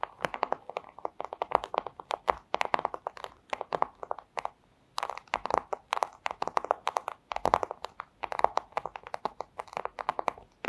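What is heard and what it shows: The tips of long acrylic nails tap rapidly on a flat, thin, clear plastic pouch, making dense runs of short, dry clicks with a light crinkly edge and a midrange focus. The tapping pauses briefly near the middle of the clip, then resumes at the same quick pace.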